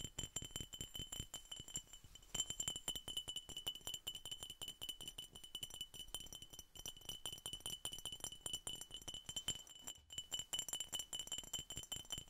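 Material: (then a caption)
Glass. A glass Coca Cola bottle is tapped over and over in a quick, steady stream of light clinks. The taps are bright and glassy with a high ringing tone that dies away almost at once, and there are no voices.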